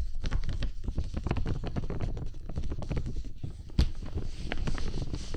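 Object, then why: Clear plastic dome umbrella canopy. Bare fingertips tap and rub the outer surface of a large, hollow, transparent plastic bubble umbrella canopy held over the microphone. The result is a dense, continuous patter of soft, deep thumps with a faint brushing hiss above them, and one sharper, louder tap near the end.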